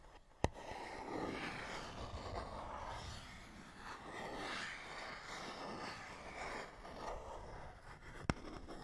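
A fingernail scratches across a small, hollow printed paperboard box with a barcode, making a steady, soft, papery scrape with rasping texture that swells and fades. Two sharp, dry clicks stand out, one near the start and one near the end.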